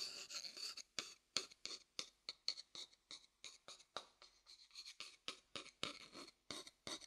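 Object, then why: Upside-down wooden bowl tapped with a thin wooden stick. A medium, hollow, light wooden bowl held upside down near the mic has its outer surface tapped with a thin wooden stick. The taps come in a quick, irregular series of short, dry clicks with a bright, high tone, almost no low end and very little ring. Soft scratchy texture sits between some of the taps.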